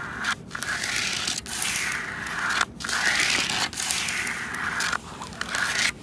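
Long red and black acrylic nails scratch and rub a large, hollow, red ribbed plastic traffic cone outdoors. Bright, raspy scraping comes in sustained passes, separated by brief quiet gaps, with a steady hiss centered around 1.4 kHz and little low end.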